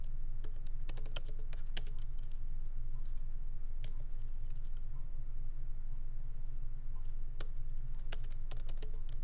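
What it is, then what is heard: Laptop keyboard with plastic keys. Fingertips of both hands tap lightly on the black plastic keycaps of a MacBook Pro laptop keyboard set in an aluminum body, resting on a wooden desk. Quick, irregular bursts of short, dry, bright clicks come in clusters over a steady low hum.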